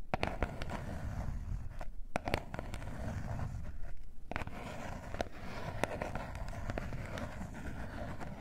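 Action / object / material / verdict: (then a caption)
scrape / small cardboard box / cardboard / none. Long nails scratch and rub the surface of a small gold cardboard face mask box. A steady, low, rough scraping texture is broken by sharp, brief clicks that spike briefly above it.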